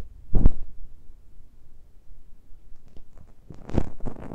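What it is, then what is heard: Fingertips scratching metal mesh microphone grilles. Fingertips and nails gently scratch and touch the uncovered metal mesh grilles of the small X-Y pair of microphone capsules on top of a handheld Tascam recorder. Soft, close, boomy thuds and rubbing scrapes sit almost entirely in the low end, with a louder burst near the start and another cluster toward the end, separated by quieter faint scratching.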